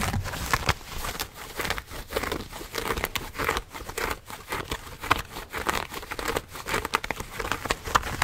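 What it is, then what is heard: Denim jeans. Blue denim jeans held close to a microphone, the thick cotton fabric scratched with fingernails and rubbed between the fingers. A dense, continuous run of dry, bright scratching and crinkling rasps swells and fades in quick uneven strokes, with sharp fingernail ticks poking through the fabric rustle.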